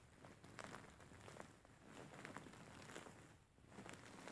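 Fingertips and short nails scratch and knead a large, soft-filled grey faux fur pillow. The result is a quiet, steady rustling with brief, brighter scratchy strokes rising out of a soft, muffled texture.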